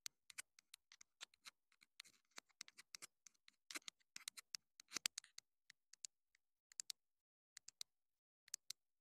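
Long nails tap and scratch the hollow body of a small black plastic clip-on wireless mini microphone transmitter held in the hand. The result is an irregular string of dry, bright clicks and short scratches with almost no low end and no ring, separated by brief silences.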